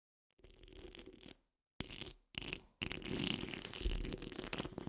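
Long fingernails, then the nail tips of both hands, scratch the rounded hollow steel wire-mesh grille of a large condenser microphone. It comes out as four close-up bursts of dense, rough scraping with a heavy low rumble and a bright rasp. The last burst runs continuously and grows loudest.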